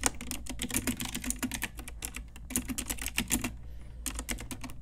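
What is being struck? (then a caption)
Plastic mechanical keyboard. A full-size pink Ajazz typewriter-style mechanical keyboard, with round plastic keycaps on a hollow plastic case, is typed on with long nails and fingertips. A rapid run of short, bright plastic clicks and clacks with a low thud under each keystroke stops briefly near the end, then resumes.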